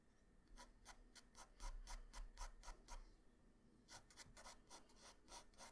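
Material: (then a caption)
Paper. A graphite pencil held in the hand scratches and rubs across a flat sheet of white drawing paper with a Goku sketch, lying on a hard surface. It makes a quick, uneven series of short, bright, raspy strokes over a steady low hum.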